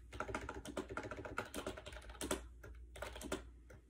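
Fingertips type quickly on a compact gray plastic AJAZZ 308i wireless Bluetooth keyboard with round white keycaps, resting on a bed. The hollow plastic keys give a steady run of short, clacky taps with a light midrange tone, each dying away almost instantly, with a brief pause near the end before a few more keystrokes.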